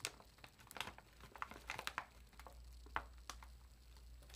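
A large party-size Zapp's potato chip bag of foil-lined plastic film, puffed with air and holding chips, is held in both hands while long acrylic nails slowly press and crinkle the film. Short, sharp, bright crackles come in scattered bursts over a quiet, low steady hum, each snap dying away almost instantly.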